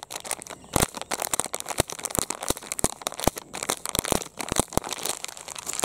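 A medium-size, soft, empty blue printed plastic Rin detergent pouch is squeezed and crinkled with the fingertips, then held up flat. The clip is a dense, continuous crinkling broken by many sharp, bright crackles that stop almost instantly, over a faint hissy background.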